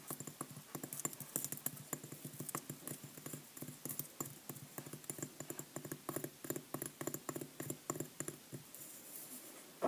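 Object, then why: Pressed-powder bath bomb. Long nails rapidly tap and scratch the surface of a solid pink clay pressed-powder bath bomb about the size of a tennis ball, held in the hand. A quick, steady run of short, dry clicks with no ring mixes with a faint scratchy hiss throughout.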